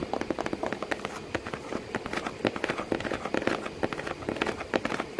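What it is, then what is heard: Cardboard box. Long painted nails and fingertips tap rapidly on the hollow side of a corrugated cardboard box with crumpled kraft paper inside and a cat sitting in it. The result is a dense, irregular run of dry, papery clicks and soft thuds, each dying away almost instantly. The sound sits mostly in the mids, with little deep low end.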